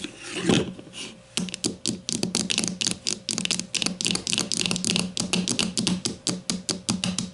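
A grey plastic deodorant stick lying on its side on a table is tapped with the long matte nails of both hands. A brief swelling rustle gives way to a quick, uneven run of sharp, bright plastic clicks, each with a short hollow knock underneath that dies away almost at once.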